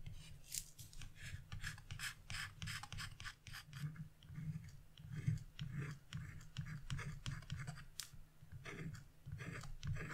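A wood-handled V-gouge chisel repeatedly scrapes thin lines into a flat sheet of black-coated scratch-off paper. The result is a quick run of short, dry scratching strokes with bright, airy rasps and a soft low rumble underneath.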